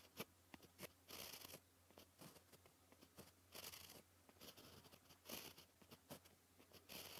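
A white gel pen writes on a sheet of black paper, its tip scratching across the surface. Quick bright ticks mix with longer rasping strokes, all quiet and close, over a faint steady low hum.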